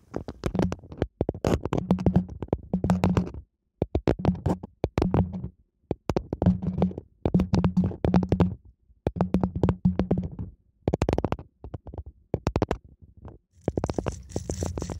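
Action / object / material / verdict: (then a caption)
scrape / small wooden comb / wood / none. A small, light, solid wooden comb is held in both hands just above the microphone while fingertips and nails scratch and rub along its teeth. Dense bursts of quick, dry clicks and scrapes come in short runs separated by brief pauses, with a low, thumpy body centred near 180 Hz and very little ring after each tick.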